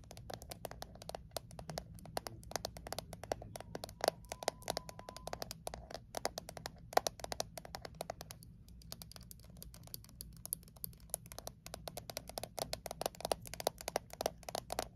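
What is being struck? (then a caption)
Small thin metal mint tin. Long acrylic nails tap and scratch fast on a small, thin metal Altoids mint tin held in both hands. A dense stream of quick, dry, bright clicks with almost no ring runs throughout, mixed with soft scratching and a faint steady low hum underneath.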